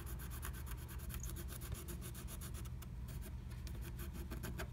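A wooden stylus scratches the coating of a flat, black-coated scratch art sheet inside a butterfly stencil cutout. Quiet, rapid, dry scratching strokes with bright, raspy streaks run steadily over a low background rumble.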